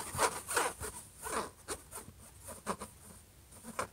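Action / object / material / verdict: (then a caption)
scrape / metal laptop lid / metal / none. Fingertips and short nails scratch a closed silver HP laptop lid near the logo. Quiet, irregular, dry rasping strokes rise and fade with a bright, papery edge and very little low end.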